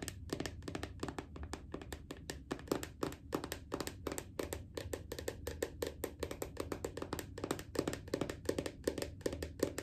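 A small round plastic strawberry body butter jar with a red and black screw lid, apparently full, is held in one hand while medium-length painted nails on the other hand tap and scratch its lid. Rapid, steady streams of short, dry plastic clicks with a hollow mid-pitched knock blend with faint scratching over a low, constant hum.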